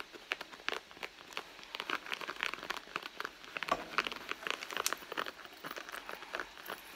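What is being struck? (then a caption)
Soft leather handbag. Long blue nails scratch and tap the side panel of a hollow red soft-leather handbag. Quiet, dry, crinkly scraping is broken by a quick run of sharp, bright taps that die away almost at once, with no low end beneath them.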